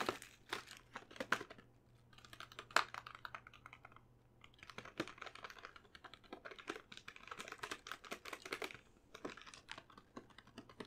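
A medium glossy plastic stand-up bag of Lindor chocolates, full of wrapped truffles, is held up in one hand and tapped and lightly scratched with long painted nails, with some crinkling of the plastic. Quick, dry, bright clicks and scratches come in uneven bursts with short pauses, over a faint steady low hum. Each tap dies away almost instantly, leaving a soft, close, rustling texture.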